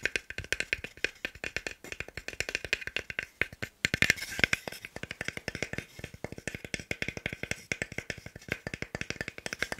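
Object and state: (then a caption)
Solid wooden block. A small, solid, pale wooden cube held in one hand is tapped fast with fingertips and nails. The result is a rapid, uneven stream of about 72 short, dry, bright clicks, each with almost no ring, and a brief louder flurry near the middle.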